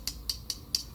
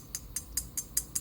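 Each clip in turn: First: carbon-crowned fairway wood head, muted plasticky tap. Second: metal-crowned fairway wood head, pingy metallic sound.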